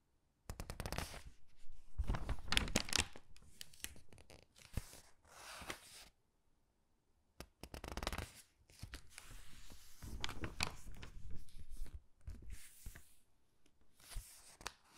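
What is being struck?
Thin glossy paper catalog pages.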